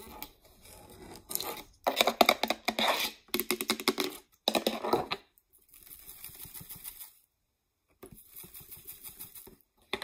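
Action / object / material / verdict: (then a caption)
tap / plastic jar / plastic / none. Long nails tap and scratch on a large, clear plastic Great Value peanut jar with a red plastic lid, hollow and mostly empty, including its label. Quick bursts of crisp clicking and raspy scratching come in clusters separated by short silences, with softer, lighter tapping toward the end.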